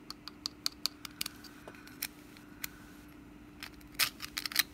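Long nails scratch the woven strands of a hollow orange wicker pumpkin lid with a wooden stem, held in the hand. The result is a quick series of short, dry, bright ticks over a faint steady hum, ending in a denser burst of raspy scratching.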